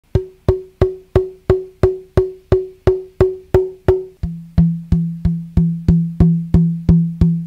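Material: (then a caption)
Wood. An unattached violin back plate, a thin, hollow, arched shell of carved wood (probably maple) about 35 cm long, is held upright by two fingers along a nodal line and tapped with a fingertip to bring out its tap tones. Twenty-two steady, evenly spaced taps each give a short, clear woody ring. The first eleven sound a brighter tone near 370 Hz, and from about four seconds in the taps shift to a fuller, lower tone around 170 Hz.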